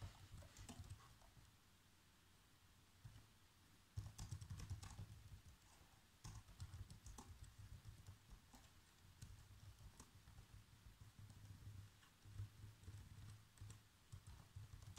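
Fingertips with short nails type fast across the keys of a black plastic chiclet laptop keyboard, giving quick, short, soft taps in irregular bursts with brief pauses. The clicks are quiet and dry, sitting over a steady low hum.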